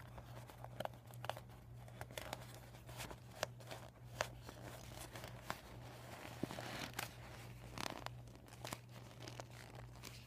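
A flat, empty, deflated PVC vinyl beach ball with yellow and white panels and a visible plastic valve is scratched by nails and crinkled by fingers. Sharp, bright crinkling snaps and rustling scratches come in quick, uneven bursts. A steady low hum runs underneath throughout.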